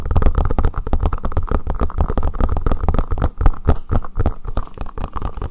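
Fingertips rapidly tap and scratch the domed top and ridged sides of a hollow green collapsible silicone bowl placed upside down over the microphone. The result is a dense stream of deep, boomy, muffled thumps with short scratchy rubs between them. Each hit dies away almost instantly and carries almost no bright content.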